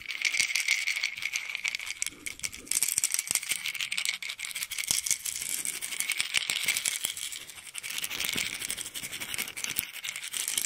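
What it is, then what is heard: Plastic pill bottle partly filled with pills. A small white plastic pill bottle, partly filled with pills, is shaken in one hand so the pills rattle inside. The result is a steady, irregular stream of sharp, bright clicks and rattles with a band near 2 kHz and almost no low end, lasting about 11 seconds.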